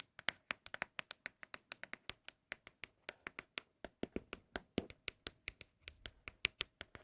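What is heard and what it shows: Empty Apple product cardboard boxes are tapped for ASMR in quick, uneven runs of about 39 short, dry, bright taps, with no ringing after each hit and a main tone near 2.5 kHz. The taps are quiet and crisp, and these boxes are held to sound especially good.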